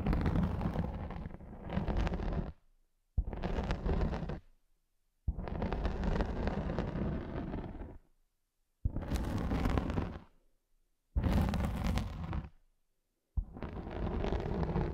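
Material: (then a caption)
Felt. Long nails scratch across a large, round grey felt sheet lying flat. Six rough, muffled scratching passes are heard, each a few seconds long, separated by brief silences. The sound is dense and heavy in the low end, with a deep rumbling texture.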